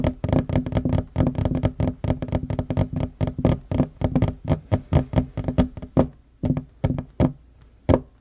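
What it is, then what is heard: Wooden tabletop. Short fingernails and fingertips tap quickly on a solid wooden tabletop, alternating fingers. A dense run of dull, knocking taps with little ring is heavy in the low end and thins out to sparser, separate taps over the last couple of seconds.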